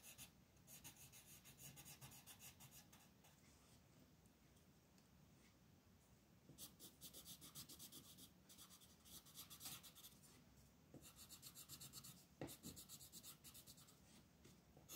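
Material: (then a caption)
Paper. A green wooden colored pencil scratches repeatedly across a flat printed paper coloring sheet lying on a desk, while the other hand holds the sheet still. The quiet, bright, papery scratching comes in fast bursts of strokes, about four per second, with a softer, steadier rubbing stretch in the middle before the quick strokes pick up again.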